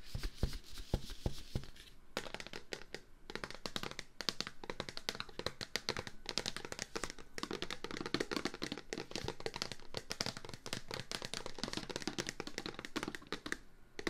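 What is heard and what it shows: A plastic Clorox disinfectant-wipes container is tapped rapidly and continuously. The taps are short and dry, each a dull low knock with a bright plastic click on top, quickly dying away.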